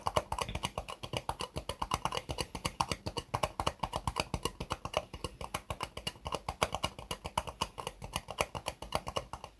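Long fingernails tap an empty, small, hollow white ribbed disposable plastic cup held upside down on a desk mat. It makes a quick, steady run of light, hollow plastic clicks, about four per second, for nearly ten seconds. Each click dies away almost instantly.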